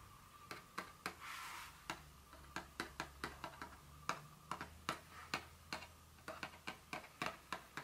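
A small, hollow, printed Dior fragrance box made of cardboard lies flat and is tapped with the tips of two very long fingernails. It gives a quick series of sharp, dry, bright clicks in an irregular rhythm, each fading almost at once. A faint steady tone around 1.2 kHz and a low hum run underneath.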